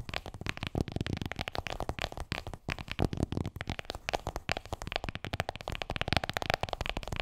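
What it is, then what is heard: Smartphone in plastic case. An iPhone in a black plastic case is held upright while long nails rapidly tap and scratch across the case and its edges. The result is a dense, fast stream of short, dry clicks and scratchy rustles with a thumpy low body and almost no ring after each tap.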